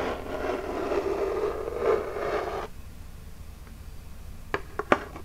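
Long jeweled nails scratch across the printed front of a small, flat, hollow Birchbox cardboard box held upright, making a steady rough scraping for about two and a half seconds. The scratching stops abruptly, leaving near-silence, and then three quick, sharp taps on the box ring out near the end.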